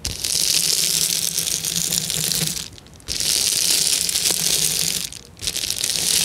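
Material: Plastic.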